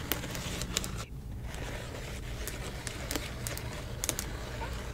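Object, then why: Plastic bubble mailer. Fingertips and long nails rub, tap and scratch the bubbled surface of a silver plastic bubble mailer. Sharp, bright clicks and crinkly scratches stand out over a steady low hum, with a brief quieter moment just after the first second.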